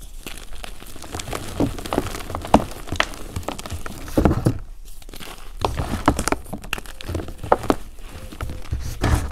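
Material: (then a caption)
Chalk, cornstarch. Bare fingers with short painted nails crush and crumble chunks of a solid, brittle pink and blue block of dried gym chalk and cornstarch in a container into powder. Dry, crackly crunches and crinkly crumbling come in quick, uneven bursts, with a few sharper snaps and soft, dull low-end thumps between them.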